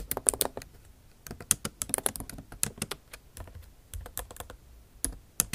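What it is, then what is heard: Laptop keyboard with plastic keys. The tips of long acrylic nails type on a MacBook Pro backlit keyboard with bare plastic keys set in an aluminum body. About two dozen quick, dry, bright clicking taps come in uneven bursts with brief pauses, each tap dying away almost instantly.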